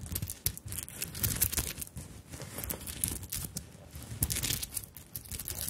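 Long nails scratch and tap across a small fabric handbag covered in beads and sequins, producing a dense, bright crinkling rustle. Quick clicky taps stand out above it, with a soft low thump underneath.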